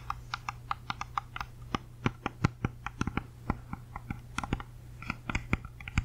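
Long nails tap and scratch a whole, solid red-yellow apple held close to the mic, giving about thirty quick, dry clicks with a crisp, bright edge and almost no ring. A steady low hum sits underneath throughout.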